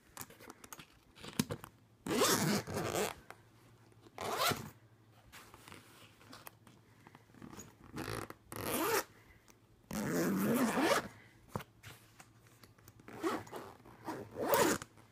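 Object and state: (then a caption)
Suitcase zipper being zipped. Fingertips rapidly zip the metal zipper pull of a purple fabric suitcase back and forth. Quick bursts of bright, rasping zipping sound are separated by quieter pauses with faint softer zipper movements.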